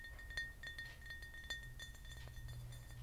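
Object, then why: Frosted glass bottle. A large, hollow, empty frosted matte glass vodka bottle with a cap is tapped with fingernails and rings, giving quick, light clinks. Each clink carries a thin, steady ringing tone near 1.8 kHz over a low background rumble. The taps fall at an uneven pace, with a couple of sharper, louder ones standing out.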